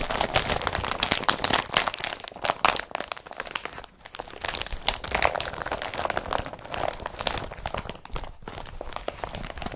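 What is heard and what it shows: An empty blue woven polypropylene IKEA BRATTBY carrier bag has its glossy body pressed and crinkled by fingers while its straps are handled. A dense, continuous run of bright, dry crinkles and crunches continues throughout, with brief quieter gaps around 4 seconds and 8.5 seconds.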